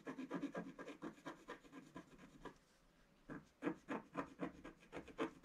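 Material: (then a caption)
Waxed paper. A thin wooden stylus scratches a flat black wax-coated scratch art sheet in a book while the other hand holds the page. It makes quick, dry, raspy strokes at about four per second. After a brief pause near the middle, the scratching resumes.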